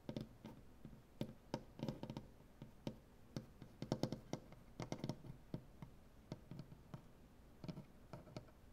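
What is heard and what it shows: A hand with dark painted fingernails taps on a large, solid wooden butcher-block tabletop. Quiet, short, dull knocks come in an irregular rhythm, some in quick clusters. Each knock has a low, woody body with a faint bright click, and dies away almost at once.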